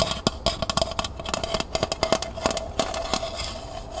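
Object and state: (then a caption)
Empty metal pail. Long nails scratch and tap the bottom and outer wall of a small, hollow, empty copper-colored metal pail lying on its side. About nineteen quick, sharp taps with bright metallic clicks stand out over a steady scratchy rasp, each with a short hollow ring near 650 Hz that dies away almost at once.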